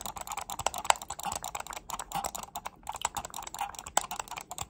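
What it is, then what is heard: Plastic computer mouse. A black plastic computer mouse held close is clicked and tapped with long nails. It makes a quick, uneven run of dry, sharp clicks and taps, centered in the midrange with bright edges and almost no low end. Each one stops instantly with no ring.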